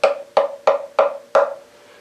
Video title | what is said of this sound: Online mandolin building course - sample lessons | when I'm tapping on the top like this there's a pinging sound and what I'm listening for is sort of the length of the decay of that